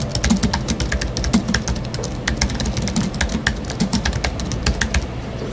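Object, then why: Aluminium-bodied computer keyboard with plastic keys. Fingertips of both hands type rapidly on an Apple Magic Keyboard 2 with numeric keypad in space grey, a thin aluminium body with black plastic keys resting on a wooden desk. A steady stream of quick, short key taps is heard, each a soft low thud with a crisp, bright click on top, dying away almost at once.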